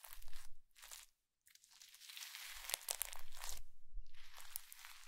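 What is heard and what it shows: A soft, squishy mound of blue slime packed with small white polystyrene foam beads, resting on a white ceramic plate, is pressed and squeezed by both hands using fingertips and palms. It gives off dense, crunchy crackles and bright popping snaps in bursts, with a brief silent pause early on before a longer, steadier stretch of crackling.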